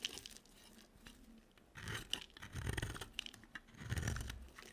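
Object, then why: Soap bar carved with a blade. A box cutter blade scrapes and carves into a solid, dry white soap bar with a yellow edge. Quiet, crisp scraping and crunchy shaving sounds come in uneven bursts, with a bright hiss on top and a soft low rumble beneath the louder strokes.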